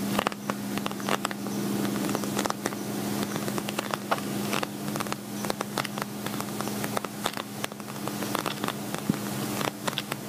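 Fingertips and fingernails tap and scratch the shiny surface of an empty, hollow, glossy black patent vinyl cosmetic bag. Many quick, sharp clicks and crackly scratches come in an irregular patter over a steady low hum near 200 Hz. Each tap is bright and dies away almost at once.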